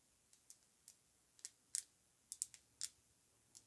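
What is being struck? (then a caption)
Filled glass perfume bottle. Long nails tap on a filled Amouage Guidance perfume bottle, made of pink lacquered glass with a ribbed cap, as it is held and turned. The result is an irregular series of faint, sharp, high-pitched clicks with almost no ring, some in quick pairs, over near silence.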